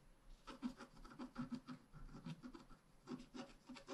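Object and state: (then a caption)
Scratch art card being scratched. A wooden stylus scratches flower petals into a thin, flat, black-coated scratch art paper card in repeated strokes. About 13 soft, dry scratching rubs come at an uneven pace, each short and quiet with a low, papery grain.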